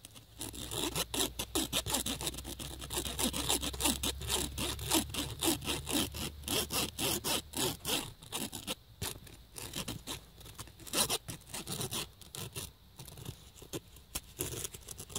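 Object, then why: Woven nylon fabric bag. The woven surface of a black nylon fabric bag is scratched back and forth with the tip of a USB cable connector, producing a steady, rhythmic sawing-like rub. The strokes sound bright and scratchy, and a low hum sits underneath for roughly the first eight seconds.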